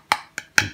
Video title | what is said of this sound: Fallkniven A1 ... déballage et présentation | ça sonne creux ça c'est comme une boîte